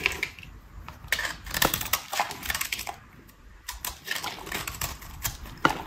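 A metal utility-knife blade scrapes and cuts curls off the surface of a solid pink rectangular bar of dry soap held in the hand. Crisp, bright scraping and crackling strokes come in quick irregular bursts, each dying away almost instantly, with short quieter pauses between them.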